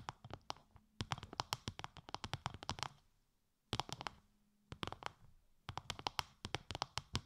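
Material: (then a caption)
Plastic. Long light-grey nails tap rapidly on a translucent bubble-textured plastic sheet wrapped over the ears of a 3Dio binaural microphone. The taps come in three quick bursts separated by short pauses. Each is a dry, crisp click with a bright edge and a soft low thump, dying away almost instantly.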